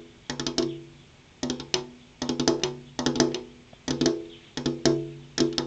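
Long purple-painted fingernails tap with their tips on a large, flat, solid glass window pane, giving about twenty quick taps grouped into short bursts of two to four. Each tap is a bright, hard click with a short ringing tone around 340 Hz and clear harmonics. Each rings briefly and dies away within about an eighth of a second between the irregular bursts.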